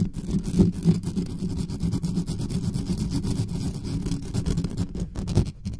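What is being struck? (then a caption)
Metal condenser microphone grille. Long nails of both hands scratch fast across the mesh grille of a dark metal USB condenser desktop microphone with no cover on it. The scratching comes through as a dense, continuous rumbling scrape, heavy and muffled in the low end with almost no brightness, and a few louder thumps stand out.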